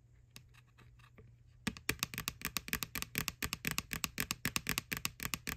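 Long nails tap and scratch the side of a small, hollow, white plastic McDonald's Halloween candy bucket, near its printed McBoo label and ribbed rim. A few faint, scattered scratchy ticks come first, then a steady run of rapid, crisp, hollow clicks that stop dead with no ring.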